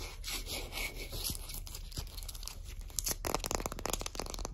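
Long acrylic nails tap and scratch along the solid, varnished wooden back of a shoe polishing brush marked with printed text. Soft, bright scratching and rubbing fills the first three seconds, then gives way to quicker, sharper clicking taps on the wood toward the end.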